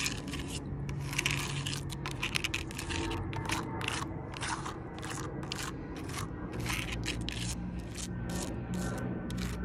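Long purple nails tap and scratch along the rough bark of a large, solid log as the hand moves across it. Quick, dry taps and bright scraping crackles repeat steadily over a low, continuous hum.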